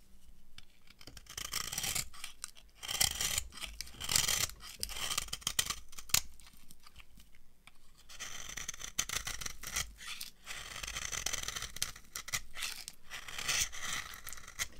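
A metal blade scrapes a dry, translucent amber laundry soap bar, and shavings fall off. Bright, dry, crunchy scraping comes in dense bursts of short rasping strokes, with brief quieter gaps between passes.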